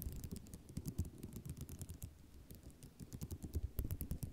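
A flat sheet of small white square ceramic mosaic tiles resting on cloth is scratched by fingernails dragged across the tile rows. This makes a dense run of quick, dry clicks and rattles with soft rustling beneath, mostly low and muffled, with faint bright ticks on top. The tapping keeps a steady, uneven patter throughout.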